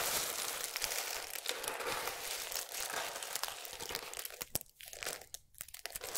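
Fingertips with long nails pinch, rub and crumble pieces of a pile of small, solid, dry multicolored soap strips. A dense, bright crinkling crunch runs steadily for about four seconds, then thins into quieter gaps broken by sharp, crisp snaps near the end.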